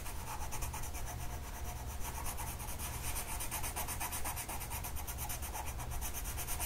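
A blue colored pencil tip is rubbed across a flat printed mandala coloring sheet of paper lying on a table and held down by one hand. The result is a steady, scratchy rubbing with a bright papery hiss and a constant low rumble underneath, continuing without a break.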